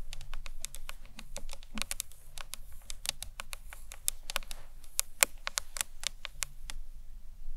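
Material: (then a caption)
Acrylic. Long nails tap the ends, then the top, of a hollow green marbled acrylic box clutch. The result is a steady run of quick, dry, bright clicks with almost no ring over a soft low hum.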